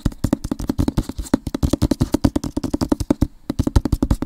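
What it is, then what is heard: Cardboard book box set. An Avatar-themed rectangular cardboard book box set over hard covers is held close to the mic and moved around while fingernails and fingertips scratch and tap it quickly. About 34 short, dry, low-heavy taps land in a fast, uneven stream, with a brief pause near the three-and-a-half-second mark. Each tap dies away almost at once.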